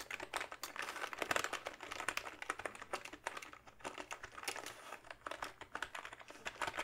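Fingertips type steadily on the keys of a full-size plastic backlit membrane gaming keyboard held upright. The result is a fast, uneven stream of short, soft plastic clacks and taps, centered in the midrange with some bright edge and almost no ring or low end.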